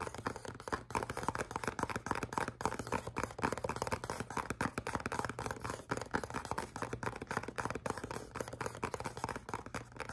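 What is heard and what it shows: Fingernails scratch and tap across a small, hollow, black printed cardboard perfume box held in both hands. The result is a dense, continuous stream of quick, dry scratches and clicks with almost no ring. The sound centers in the midrange around 900 Hz, over a faint steady low hum.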